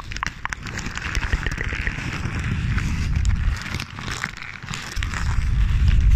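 A sheet of crumpled paper is held in one hand beside the microphone and crinkled with the fingertips, giving a steady run of soft crackles and rustles. The sound is mostly low, with occasional brighter crinkles and faint snaps, and grows slightly louder toward the end.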